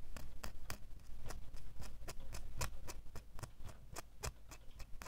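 A small solid metal door key held in the fingers is tapped and scratched with fingernails. The sound is a quick, uneven series of sharp, bright clicks with short scraping sounds between them, over a steady low rumble. Each tap dies away almost at once.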